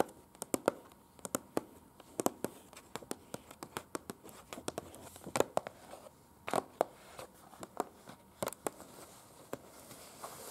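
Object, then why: Printed paper leaflet. Long pointed acrylic nails on both hands tap and scratch across an open printed paper museum leaflet with floor plans and small pictures, lying flat. About thirty sharp, dry clicks with no ring stand out over a faint, continuous papery scratching.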